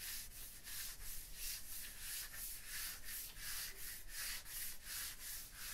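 Fingers with long nails rub and scratch across a wall of solid tooled limestone blocks in a steady back-and-forth rhythm. Each stroke gives a soft, hissing scrape that is bright on top over a low rumble.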